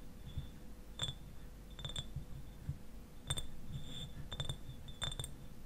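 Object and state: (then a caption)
Glass bottle tapped with fingernails. Fingernails tap the glass sides of a medium-sized clear glass eyewash bottle, which stands upright and is partly filled with liquid. Several short, bright clinks are heard, some as quick double taps, each with a brief glassy ring that fades almost at once. A low, rumbling background noise runs underneath throughout.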